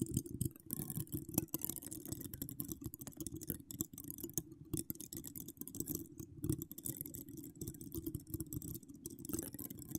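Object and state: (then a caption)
Metal microphone grille scratched with nails. Long acrylic nails with donut charms scratch and tap the hollow domed steel mesh grille of a large condenser microphone, which has no foam cover and is decorated with small wire spirals. A dense, continuous stream of quick scratches and crisp clicks comes through with a heavy low-frequency rumble and a faint bright hiss above it. Each tap stops almost instantly, with no ringing.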